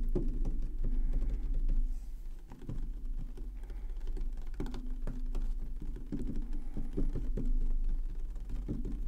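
Fingernails and fingertips tap the side edge near the top vents of a tall black plastic Xbox Series X standing on a wooden table. The taps are quick and irregular, with sharp clicks over low, hollow knocks from the housing, and a steady low hum underneath.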